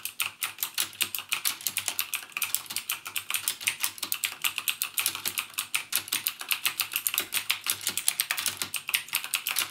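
Fingertips type rapidly on a backlit mechanical keyboard with plastic keycaps and Cherry MX Blue switches. The result is a steady stream of bright, sharp clicks that decay almost instantly, with nothing in the low end.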